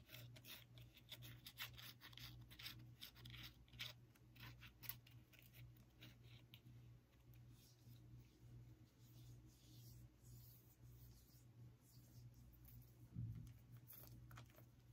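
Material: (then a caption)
Pumpkin rind. Long acrylic nails scratch and tap the ribbed rind of a small, whole, decorative orange pumpkin with a dry stem, a hollow-ish gourd held in one hand near the microphone. Quick, dry, bright scratches and light taps come in dense bursts over a steady low hum, with a few louder taps standing out.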